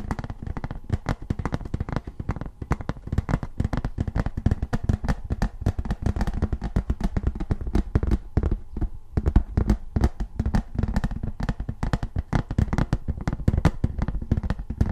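Fast fingernail and fingertip tapping on the face of a thin, embossed tin novelty license plate. The rapid, continuous taps sound dull and low-heavy, each with a sharp bright click on top and almost no ring.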